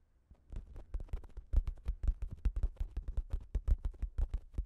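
A fingertip and a nail poke and scratch a thin pink plastic shower cap stretched over a microphone. The result is a loose, irregular run of deep, muffled thumps around 59 Hz, with crinkly, bright plastic scratches layered on top. The taps come at roughly two per second and each dies away almost at once.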